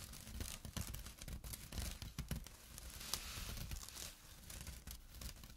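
Fingernails and fingertips scratch a small, flat, empty jute burlap drawstring pouch lying on dark cloth, working near the drawstring edge. The result is a continuous dry, rough rasping of quick, irregular strokes, with a bright fibrous hiss over soft, low thumps.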